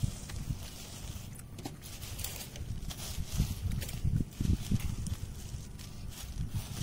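Fingertips and medium-length nails scratch and tap across a ground bed of dry, loose shredded wood chip mulch with a few dry leaves mixed in. The result is soft, irregular crunching and rustling, with dull, low thumps that grow denser and louder toward the middle before settling back down.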